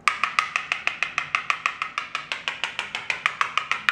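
A hand rapidly taps a glossy white ceramic floor tile, marked with a piece of tape, using a small hard yellow plastic tool to test whether it sounds hollow or solid. About 25 quick, evenly spaced, bright clicking taps are heard over roughly four seconds. Each tap has a short ring centered near 1.2 kHz with a strong overtone around 2.4 kHz.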